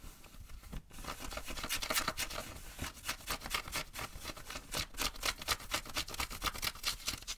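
Fingers and nails scratch and rub the fabric and back pocket of blue denim jeans being worn. Rapid, irregular strokes of bright, hissy scratching come roughly twice per second. Each stroke is dry and short, with no ring.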